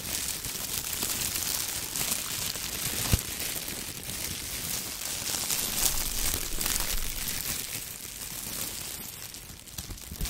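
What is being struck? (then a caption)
Thin polyethylene disposable gloves. Hands wearing thin, clear polyethylene disposable gloves over long nails flex and crumple the loose plastic in the air, away from the microphone. A dense, steady, bright crinkling continues for about ten seconds, with one sharper crackle near the three-second mark.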